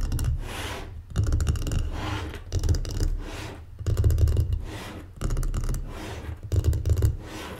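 Long painted fingernails rub and scratch across the surface and grooved edges of a folded, closed light wooden mancala board resting on a table. Six rasping scratch passes swell and fade in a steady rhythm, each a dense, dry scraping with a heavy low rumble and a faint bright hiss.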